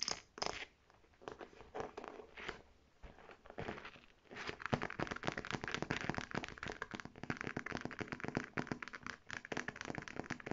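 Long red nails scratch and tap a medium navy faux leather clutch bag, working over its striped fabric-covered flap, gold metal trim and smooth navy body. Sparse, crackly scratching over the first four seconds gives way to dense, fast, crisp tapping and scraping that continues to the end.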